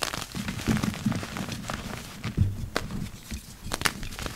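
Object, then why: Block of dyed gym chalk. A heap of dry, crumbly purple-dyed gym chalk powder is dug into and crushed by yellow rubber-gloved hands. The result is soft, low crumbling and crunching with sharp, bright crackles and gritty rustling.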